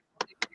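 Two sharp, hollow knocks on a large, perfectly dried reishi mushroom, found a couple of years ago, which is hard and light as a feather. The taps ring out short and bright with a plastic-like click and die away almost at once.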